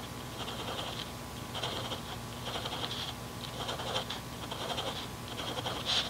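A mechanical pencil scratches dots and lines onto a paper grid notebook on a desk. Short, bright pencil-on-paper strokes come in about six separate bursts over a low, steady background hum.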